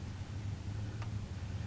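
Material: Nothing is struck.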